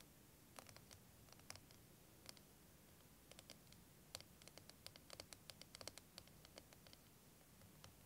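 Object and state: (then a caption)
Plastic liquid timer tapped and scratched. A clear, curved, wavy plastic liquid timer filled with green and blue liquid is held in both hands and tapped and scratched with fingernails. Quiet, sharp, bright clicks and scratchy ticks come in irregular bursts over a low, steady background hiss.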